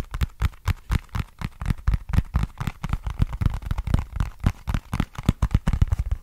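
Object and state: Cardboard box.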